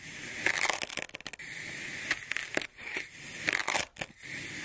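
A hand-held ceramic-bladed kitchen knife slices thin slabs from a solid molded block of olive-green kinetic sand with a swirled pink and purple core, and the slices fold and pile up on a white surface. Each cut gives a bright, crumbly crunch and sandy crackle with little low end. The bursts come in quick clusters separated by quiet gaps.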